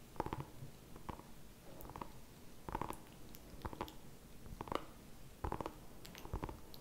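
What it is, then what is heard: Small pumpkin. Fingertips and nails tap and scratch the skin of a small, whole orange pumpkin held in both hands. The result is a quiet run of short, dull, hollow knocks with a mid-pitched ring that fades almost instantly, mixed with faint, bright scratching over a low, soft background.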